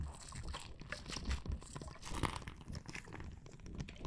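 A clear plastic bag full of red water beads is held up, squeezed and scratched with fingernails. The result is a steady stream of soft crunching, crinkling and squishy sounds, heavy in the low end, with quick bright scratches and a few louder squeezes scattered through.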